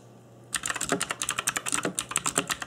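Fingertips in black nitrile gloves type on a cheap RGB-backlit mechanical keyboard with plastic keycaps. After a brief quiet moment, about sixteen quick, bright, clacky key taps follow in a steady rhythm, each dying away almost at once.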